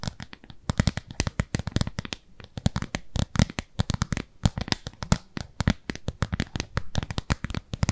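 A thin, translucent frosted plastic round lid is held in both hands while long nails scratch and tap across its surface. The result is a rapid, uneven run of dozens of sharp, dry clicks and taps with a low, thumpy body and almost no ring, broken by soft scratching between them.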